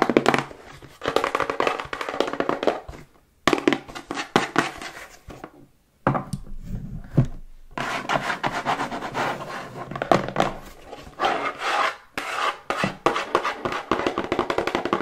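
Long white nails tap and scratch quickly across a plain brown, medium-size, hollow corrugated cardboard box with unknown contents, held upright, then laid on a table, then held again. Dense bursts of dry, hollow taps with very short ring mix with papery scratching, centered in the low-mid range. The bursts are broken by a few brief silences.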